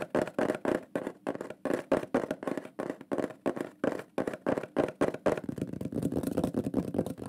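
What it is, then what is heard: Wooden plaque. A shield-shaped wooden plaque with a burned pyrography drawing is tapped quickly with the fingertips and nails of both hands. The result is a rapid run of dry, hollow knocks with a woody tone around 600 Hz, each dying away almost at once. Toward the end the taps blur into a denser patter.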